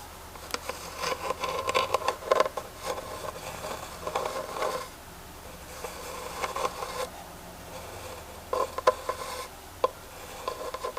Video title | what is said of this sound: ASMR - Tapping and Scratching WOODEN TREASURES | just a wooden box that has a great texture to it